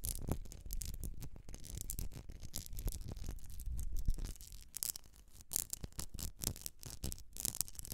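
A medium etched glass candle jar filled with solid wax is held and tilted while long nails scratch across the glass and its base. The result is a quiet, continuous run of fast, dry scratching strokes with bright, hissy bursts over a low handling rumble, each stroke dying away almost instantly.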